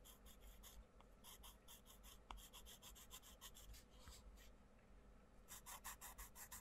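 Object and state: Coloured pencil on paper page.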